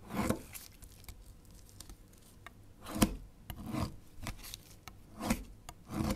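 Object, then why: Bar of soap scraped with a metal knife. A small solid beige bar of soap, held by fingertips on a white cutting surface, is shaved and scraped repeatedly with a long metal kitchen knife. Dry, rasping scrapes come in uneven bursts, each with a bright, papery edge and short, crisp clicks between strokes. Thin chips of soap pile up beside the bar.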